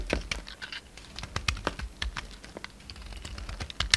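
A pink utility knife blade scrapes and chips flakes off an oval, palm-sized, solid pink bar of soap with a red coating, held in the hand. The result is a quick series of crisp, dry clicks and scratchy ticks with bright, high edges and almost no ring.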